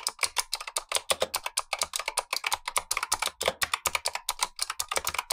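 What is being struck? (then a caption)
Plastic mechanical keyboard with clicky switches. Gloved fingertips type continuously on a black tenkeyless Razer Huntsman V2 mechanical keyboard with clicky switches and plastic keycaps, while a second keyboard above sits idle. A rapid, steady stream of sharp, bright clicks and clacks follows, each keystroke short with almost no low-end thump.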